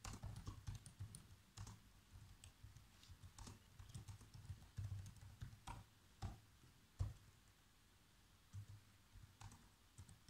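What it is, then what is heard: Plastic laptop keyboard being typed on. Fingertips type quickly on the black plastic keys of a laptop keyboard, producing a stream of soft, short key taps with a dull low thump and faint bright clicks. The taps come in irregular bursts with brief pauses, the loudest snapping out near the middle before the typing picks up again.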